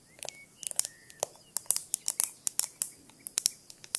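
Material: Glass.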